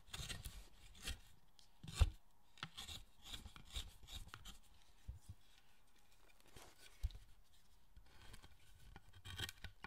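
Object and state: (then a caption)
Wooden statue being carved with a chisel. A hand chisel carves and scrapes the surface of a large, solid pale-wood carved statue held on a workbench. Quiet, dry scraping strokes and short dull taps come in an uneven rhythm, with bright shaving rasps over a low thud. A sharper knock stands out around two seconds and another near seven.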